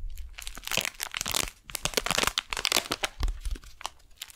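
A flat brown kraft paper package with a beeswax wrap inside, held vertically and then horizontally, is tapped and scratched by long nails. The result is dense, bright crinkling and crackling with many quick, dry taps and short pauses.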